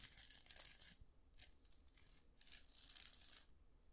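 Fingertips flick and scratch the plastic bristles of a round styling brush with a metal barrel. The result is quiet, bright, crackly scratching in uneven bursts that sounds like soft tearing or crinkling, with almost no low end and no ring after each stroke.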